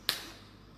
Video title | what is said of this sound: Chocolate Making demonstration in Liberia | how our chocolate snaps that's how we know that we have those type five crystals